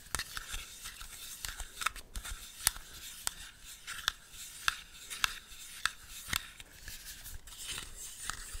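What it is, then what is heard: Small plastic compact case, hollow. A small, empty, hollow yellow plastic cushion compact is held in the hand while fingernails scratch and tap it. Sharp, bright clicks stand out over a steady high, dry scratching, with almost no low end and no ring after each tap.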